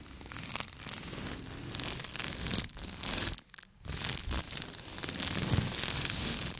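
A small light-blue microfiber cloth is held up in the hands while fingertips rub, scratch and crumple the fabric. The result is dense, bright, noisy rustling and scratching, with a brief near-silent pause in the middle before it picks up again and grows slightly louder.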